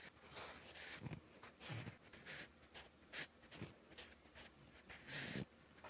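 A sharpened wooden pencil scratches across a lined, textured paper notebook page while writing characters. Short, bright, hissy scratching strokes come in bursts with brief quiet gaps, each stroke carrying a faint low scrape beneath the high rasp.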